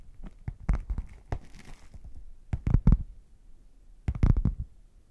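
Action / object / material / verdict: tap / padded faux leather zip case / faux leather / none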